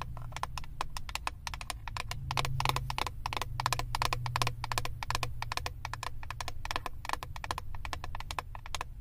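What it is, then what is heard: Plastic eyeshadow palette. Long acrylic nails tap and scratch the clear plastic lid of a flat eyeshadow palette, producing a rapid run of sharp, dry clicks with short scratchy strokes mixed in. Each tap is bright and dies almost instantly. A steady low hum sits underneath throughout.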